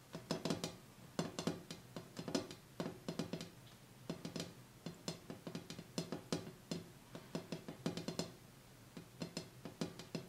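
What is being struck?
Glass tabletop.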